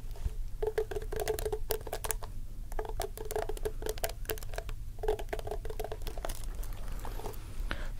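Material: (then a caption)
Plastic. Fingertips and nails scratch and rake across the dense black plastic bristles of a hand-sized wooden paddle hairbrush held up close. The result is a steady run of rapid, patter-like clicks with bright ticks over a low rumble and a faint tone near 440 Hz.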